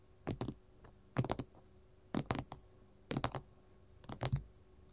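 A gold mat is tapped with metal finger rings, giving five short bursts of quick, dry clicking taps spaced about a second apart. The taps are soft and low-weighted with brief bright edges and no ringing, separated by a faint steady hum.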